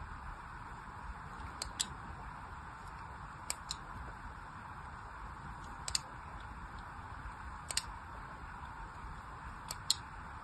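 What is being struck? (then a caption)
Bar of soap scored with a metal needle. A thin metal needle scores more lines into a solid orange bar of soap that is held in the hand and already has a crosshatched surface. Five pairs of short, sharp, bright scratches come roughly every two seconds over a steady, quiet hiss.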